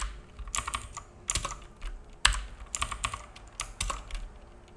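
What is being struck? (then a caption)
Plastic mechanical keyboard. Fingertips of both hands type on a black full-size mechanical keyboard with plastic keycaps and a hollow case, resting on a wooden desk. Quick runs of sharp, bright plastic key clacks carry a low hollow thump beneath them. Each tap dies away almost at once between the bursts.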